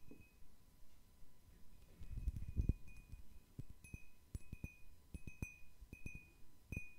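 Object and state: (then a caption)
Cut crystal glass bowl. A large, round, hollow and empty cut-crystal glass bowl, held in one hand, is tapped with fingernails in an irregular run of soft taps. Each tap gives a quick, dull low knock with a faint clear ring near 2.6 kHz and bright glassy overtones that fade almost at once, over a quiet background.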